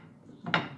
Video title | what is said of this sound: Restoring a 136 year-old upright piano by myself | they return but you can hear the knocking on the wood